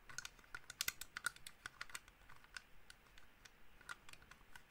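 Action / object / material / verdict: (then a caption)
tap / plastic computer mouse shell / plastic / none. A small black plastic gaming mouse with a hollow shell is held in one hand and tapped and scratched with the fingertips and nails of the other hand. About twenty quick, light, clicky taps are heard, each dying away almost at once, with a bright hollow tick centred in the upper mids and faint scratchy rustle between them at a quiet level.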